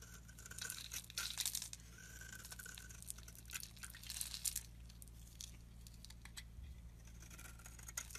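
A solid oval green soap bar held in the palm is shaved with a metal utility blade into thin curls. Bright, dry scraping and crackling strokes come in bursts, with quick short scratches that stop with almost no ring. A steady low hum sits underneath throughout.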